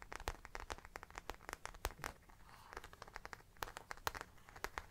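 Long dark nails and fingertips scratch and tap the back panel of a small round brown faux leather bag, moving toward its top edge by the end. Many quick, sharp clicks and taps ring out over a soft, bright scratching hiss, with a quieter stretch of scratching around the middle.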